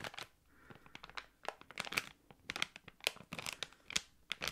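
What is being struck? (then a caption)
Thick clear plastic packaging bag. A small, thick, hollow clear plastic packaging bag holding a card and a slim item is crinkled and squeezed with fingertips and long nails. It makes a rapid, irregular series of sharp, bright crackling crinkles with almost no low end. Each burst cuts off quickly, leaving faint quiet gaps between them.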